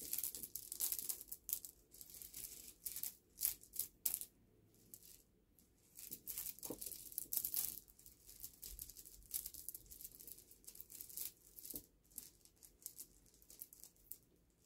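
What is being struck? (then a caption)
Small polished river pebbles. Fingertips scoop and rub together a pile of small, smooth, solid polished river pebbles resting on a black cloth. The result is a quiet, bright clicking and rattling clatter in short bursts, with a near-silent pause partway through before the scooping resumes.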